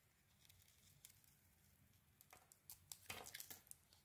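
A metal blade scrapes and carves the surface of a solid pink soap bar with gold lettering. Quiet, faint scratching gives way to brighter, crisp crackling scrapes that grow louder in the second half, with a dense burst of carving near the end.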